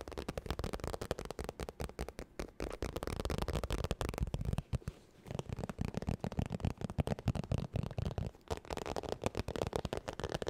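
Long nails tap and scratch quickly across a holographic textured vinyl makeup bag held near the microphone. The result is a dense, fast stream of short, dull, low-heavy taps and crinkly scratches, with a brief pause around the middle.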